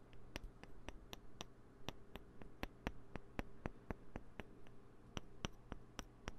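Small, solid green plastic poker chips are clicked together and handled with the fingertips close to the mic, producing an irregular series of around two dozen sharp, bright clicks over a steady low hum. Each click is dry and stops almost instantly, with faint rustling from handling between them.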